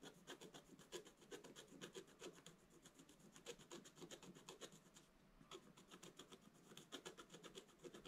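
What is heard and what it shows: A wooden stylus scratches short strokes across the upper area of a black-coated scratch-art page lying in a flat book. The result is a quick run of dry, papery rasps with bright hiss. It keeps an uneven rhythm of roughly two strokes a second, with a brief pause near the middle.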